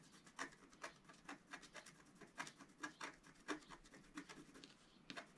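A wooden stylus finely scratches a flat black coated scratch-art card, a scratch-art paper sheet. Short, dry, bright scratching strokes come in an irregular series, with quick rasping rubs between the louder strokes.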